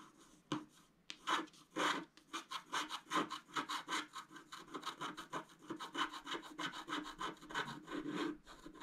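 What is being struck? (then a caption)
Scratch-art card scratched with a wooden stylus. A wooden stylus scratches dense hatching into a flat scratch-art card, a black coating over colored foil, lying on a table. The scratching comes as a rapid series of short, dry, rasping strokes, bright and papery with a slight hollow body. The strokes start sparse and then settle into a steady rhythm.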